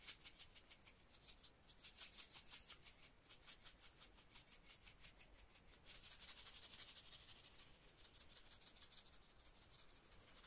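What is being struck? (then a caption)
Plastic spice shaker with powder. A small clear plastic spice shaker with a red cap and a paper label, full of pale powdered spice, is held in both hands and shaken while fingertips rub its body. It makes a quick, bright, hissing rustle of about three soft shakes per second, growing louder and denser from about six seconds in.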